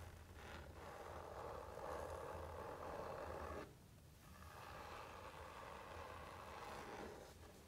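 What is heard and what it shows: Soft, continuous scratching is heard, strongest around the mid range, with a short break in the middle and no distinct ringing taps. It is the papery rasp of fingertips on a laminated hardcover board, over a faint low hum.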